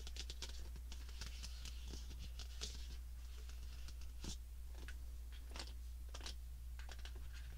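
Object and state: Stack of small cardboard boxes.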